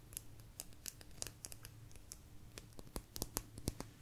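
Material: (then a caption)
Agate. A small, thin, solid blue agate slice is tapped and scratched with long nails close to the mic. The result is a quick run of sharp, bright clicks with very short ring, separated by softer scratching over a low steady hum.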